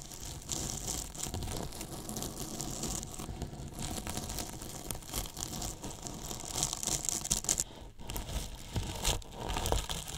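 Two thin paintbrushes brush and scratch along the top edge of a large, hollow white polyethylene foam box with a microphone inside. The result is a continuous, dense, crinkly scratching with a bright, high hiss over a boomy low rumble from the hollow box. It swells a little louder in the last few seconds.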